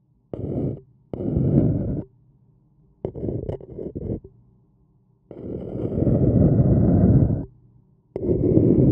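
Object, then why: Paper cup scratched with a wooden stick. A thin wooden stick scratches the rim of an empty, hollow, printed white paper cup. It makes five bursts of dry, rasping scraping with a low, rumbling body and quiet pauses between them. The middle burst breaks into several short strokes, and the longer strokes swell and hold before stopping abruptly.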